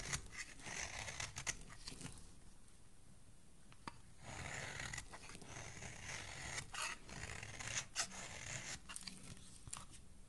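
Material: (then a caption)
Soap. A solid pale yellow soap bar is shaved with a metal blade into fine curls. It makes a run of crisp, dry scraping and crunching strokes with a bright, hissy edge. The strokes come in uneven bursts with quieter pauses between them.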